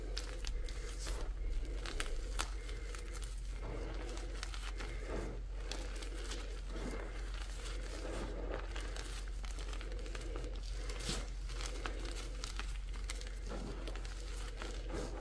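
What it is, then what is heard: Crushed gym chalk chunks and powder. Bare hands scoop, squeeze and crush handfuls of a dry pile of green-tinted gym chalk chunks and powder, then plunge back into the pile. A steady, crumbly crunch and rubbing runs throughout, with many short bright crackles over a constant low hum.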